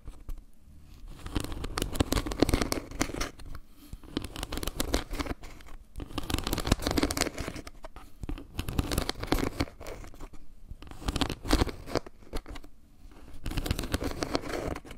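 Long painted nails tap and scratch across the surface of a round, flat, solid wooden log-slice trivet with maple-leaf carvings. Dry, crackly tapping and rustling scratches come in bursts separated by brief quieter pauses.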